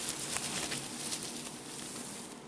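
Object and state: Nothing is struck.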